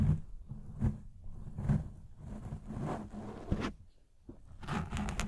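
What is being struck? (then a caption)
Foam microphone windscreen. Fingertips and short nails of both hands grip and scratch a fist-sized black foam windscreen of soft, porous foam over a microphone. The result is a dense, boomy rumble of scratching, weighted heavily toward the low end, with louder swelling bursts rising out of it. A brief quieter lull comes near the end before the bright, crackly scratching returns.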